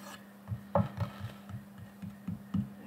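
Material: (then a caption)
Bamboo wood. A large round solid bamboo wood cutting board with a burned Celtic knot design lies flat on a table while fingertips and the side of a hand brush and rub across its flat surface, sweeping off burn residue, as the other hand holds a woodburning pen off the board. Soft, dry rubbing strokes swell and fade in a low, woody hum, with a few sharper brushing accents.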